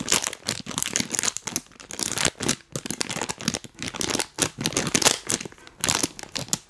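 A full, printed plastic cookie bag is held and crinkled close to the mic and tapped with rubber toy hands. Dense, bright crinkling and crackling comes in quick, irregular bursts with short gaps, and little low end.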